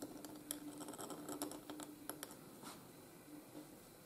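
A steel nib in a wooden holder scratches across a flat white gridded paper sheet while writing cursive letters. Quiet, irregular scratchy strokes and small bright ticks come in quick, uneven bursts over a faint steady low hum, then thin out toward the end.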